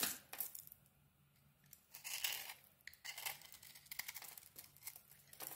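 A small metal blade scrapes and carves a solid yellow Alterra bar soap held in the hand, its white interior exposed and flakes falling off. Bright, crisp scraping and flaking bursts come in irregular strokes, with quiet pauses between them.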